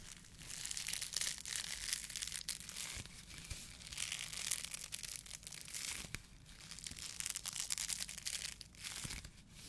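A white polyethylene foam mesh fruit protection net is crumpled and rubbed between the fingertips of both hands. The result is a continuous bright crackling and crinkling that swells and fades in waves, with many tiny squeaky pops and little low-end weight.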